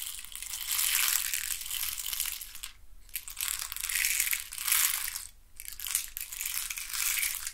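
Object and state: Wooden stick box scratched.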